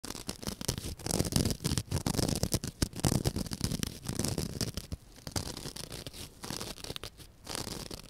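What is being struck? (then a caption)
Open-cell foam sponge. A rectangular white, soft, porous open-cell foam sponge is held in one hand and scratched with long dark-painted nails, while a second identical sponge lies still beside it. The scratching comes as rapid, dense bursts of crackly, scraping rasps with a full low body and a bright hiss on top. It is louder in the first half and settles into softer, steadier rubbing after about five seconds.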